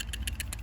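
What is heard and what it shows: A Badger out-the-front (OTF) automatic knife with a D2 steel blade in an aluminium handle is shaken to check for play, giving five short, bright, faint clicks over a steady low hum. Only a very mild rattle is heard, showing the mechanism is still tight after heavy testing.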